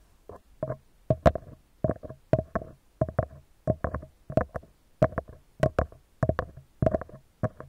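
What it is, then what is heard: Metal mesh microphone grille. Fingertips of both hands gently tap a round, hollow metal mesh microphone grille in a steady rhythm of quick clusters, about 24 soft taps in all. Each tap is a short, dull thump with a hollow mid-pitched ring around 645 Hz and a low body. The taps die away almost instantly, with near silence between clusters.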